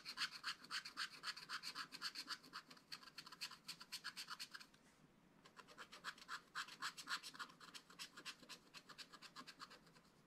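A wooden stylus scratches short, quick strokes near the bottom of a flat, spiral-bound scratch-art pad with black-coated card. The strokes form a rapid, fairly regular run of dry, bright scratches. There is a brief pause around the middle before the scratching resumes.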